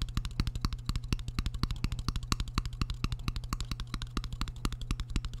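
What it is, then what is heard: Ceramic plate tapped with a fork. A metal fork held against the back of a shallow, empty, white square ceramic plate, held up in front of a microphone, taps and scratches it in a rapid, uneven series of short, sharp clicks. The clicks are bright, with a quick decay, over a steady low hum.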